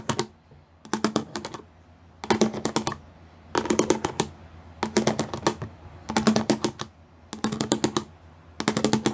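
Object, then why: Studded plastic panel. Fingertips and nails tap fast over the pyramid studs of a grey plastic studded panel. Eight bursts of rapid, dry, bright clicks are separated by short quiet pauses, with each tap dying away almost instantly.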